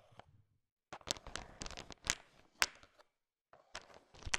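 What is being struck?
Sugar-shelled peanut chocolate candies.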